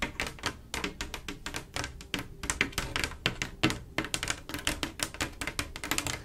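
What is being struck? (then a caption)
Glass mirror mosaic tile panel with grout. Long acrylic nails on both hands tap rapidly across a large, solid, flat mirror-glass mosaic tile picture made of small silver tiles set in grout. The result is a fast, steady stream of short, bright clicks that stop almost instantly, with faint music possibly in the background.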